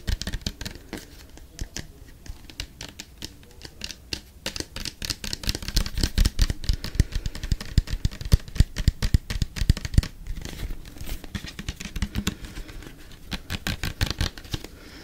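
A small, dark green, hollow plastic bottle with a white cap is held in the hands and tapped and scratched with the fingertips and nails. Rapid, uneven, dry clicks and taps come with a low hollow thump and bright scratching between them, and the activity grows busier and louder toward the middle.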